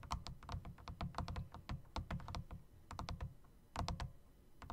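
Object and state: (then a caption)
Typewriter-style mechanical keyboard, typing. Fingertips type quickly on a full-size backlit mechanical keyboard whose round, typewriter-style plastic keycaps sit in chrome metal rings. Each press gives a sharp, bright click over a low thunk, in irregular bursts with short pauses between them.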